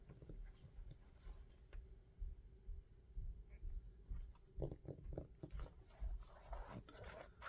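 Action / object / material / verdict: tap / rubber shoe sole / rubber / none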